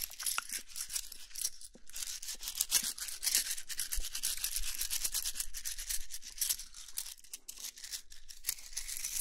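A handful of thin, solid wooden sticks, some painted red and some natural, is squeezed and rubbed between the palms and fingertips. This makes a steady, bright brushing sound full of rapid, dry little clicks that continues evenly throughout.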